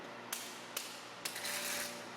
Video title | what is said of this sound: Low payout rate deters public adoption of government-funded earthquake insurance | a structural engineer walks around the room tapping on the wall as he does so a hollow sound can be heard